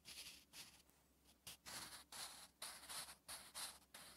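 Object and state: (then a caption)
Pencil writing on notebook paper. A sharpened wooden graphite pencil is drawn across the flat, thin lined paper page of a spiral notebook while writing Korean letters. Quiet, bright, scratchy strokes come in about nine short bursts separated by brief pauses, with almost no low end.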